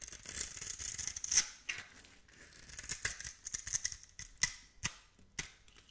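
A metal blade scores and scrapes the surface of a solid, palm-sized green bar of soap embossed "Absolut," held in one hand, shaving off flakes. The sound is a series of dry, bright scratches and crisp clicks over a soft hissing scrape, concentrated in the high frequencies with little low end.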